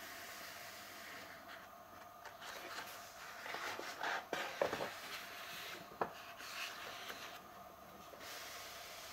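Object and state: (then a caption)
Paper pages of a hardcover book. Bare fingertips and palms rub, smooth and turn the paper pages of a large, solid hardcover book lying open and flat. Soft, dry swishing and brushing over a faint steady hiss is broken midway by a cluster of sharper papery flicks and snaps as pages turn, then settles back into quiet rubbing.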